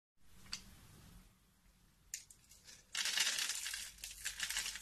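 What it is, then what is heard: Black soap bar being cut. A metal utility knife blade scrapes and cuts a solid rectangular black bar of soap with an embossed logo, held in the hand, into small cubes that crumble off the edge. A faint hiss is broken by a sharp tick and a bright crackling cut. Then a dense, bright scraping and crumbling carries on to the end.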